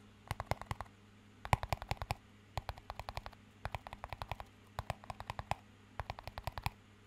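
A small, empty clear plastic cup with a green band is held up high and tapped with the fingertips. It gives bursts of quick, light, dry clicking taps in irregular clusters over a low, steady hum. Each tap is short and sharp with almost no ring.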